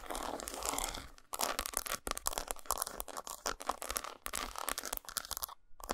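Long nails tap and scratch across the textured squares of an unwrapped solid dark chocolate bar resting on a towel. The result is a dense, bright, crunchy scratching with quick, dry taps, broken by brief pauses.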